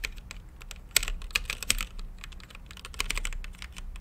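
Fingertips type on a mechanical keyboard with plastic keycaps and a translucent lit case, producing a steady stream of short, bright clacks. Each keystroke is sharp and dry with a faint low thud beneath, and a few harder presses stand out above the rest.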